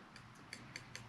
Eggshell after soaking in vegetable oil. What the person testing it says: you can hear the tapping so there wasn't a chemical reaction when we put the egg in the vegetable oil